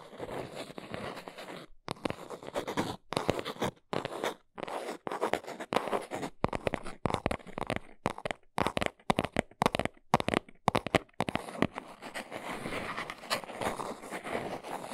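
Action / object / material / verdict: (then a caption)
scrape / small cardboard box / cardboard / none. Long acrylic nails tap and scratch the front face of a small brown cardboard box held upright in the hands. The result is a run of dry, crunchy scratching bursts broken by brief silences, sitting mostly in the midrange with little deep low end and no ring. Toward the end, the scratching turns into a steadier, continuous scrape.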